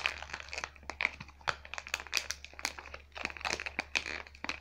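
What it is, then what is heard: Plastic blister pack with cardboard backing. A hand-sized travel pack of face-care tubes in a clear plastic blister with a printed cardboard back is held and squeezed, then crinkled and scratched with long fingernails. Dense, bright crackling and sharp clicking ticks fill the clip, with most of the energy above 2 kHz and almost no low end. Each snap dies away at once.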